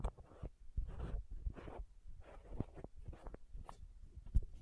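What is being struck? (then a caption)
Small plastic contact lens case with screw caps. Long nails tap and scratch the green and white screw caps of a small hollow plastic contact lens case and twist the lids. The result is quiet, dry scratching bursts mixed with short, sharp taps, each dying away almost instantly.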